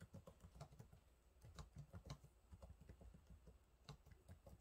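Fingertips type on the low-profile plastic keys of a silver laptop keyboard, making a quiet, steady run of repeated taps. Each keystroke is a short, dull tap with most of its weight low in the range, and a few land harder with a brief bright click.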